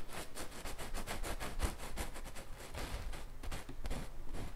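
A thin wooden-handled fine paintbrush, held in the fingertips, rubs and strokes across a large stretched canvas bearing an acrylic or oil bison painting, its taut fabric stretched over a frame with a hollow space behind. The result is a quiet, continuous run of soft, breathy brushing and tracing strokes, each a short bright swish over a low, dull thrum from the canvas.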